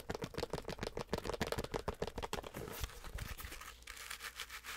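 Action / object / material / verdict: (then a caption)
scrape / stuffed plush penguin toy, fuzzy fabric / plush fabric / none. A medium stuffed penguin toy with fuzzy, sparkly fabric is scratched aggressively with long acrylic nails. Quick, irregular bursts of dry, scratchy rustling dominate the first few seconds, then give way to a softer, steadier brushing hiss toward the end.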